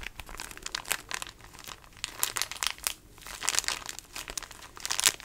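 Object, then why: Plastic wrapper of a pocket tissue pack. Fingers squeeze and crinkle the small, patterned plastic wrapper of a pocket tissue pack. Dense, bright crackling bursts rise and fall in irregular clusters, with almost no low end and no ringing between the crinkles.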